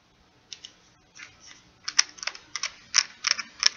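Fingertips and nails tap the rubbery keys and plastic case of a small purple plastic pocket calculator held in one hand. Quick, irregular, dry clicks and taps sound bright and crisp, with no low end, and grow busier and louder toward the end.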